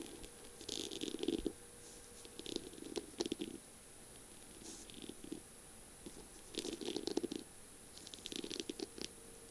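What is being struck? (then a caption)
Pen barrel covered in beads and small mirror tiles. Long glittery purple nails tap and scratch along the slim barrel of a feather pen covered in tiny beads and small square mirror tiles, with a pink feather plume, lying on a flowery surface. Bursts of quick clicky taps and gritty scratching come in clusters separated by short pauses, with a faint steady high hiss underneath.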